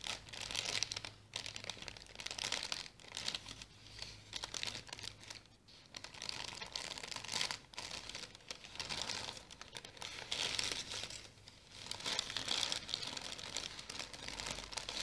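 A wrinkled orange tissue paper package is scratched by long nails and crumpled by fingers, giving a steady, dense crinkling and rustling. The sound is bright and crackly with almost no low end, rising and falling in waves across the clip without settling into separate hits.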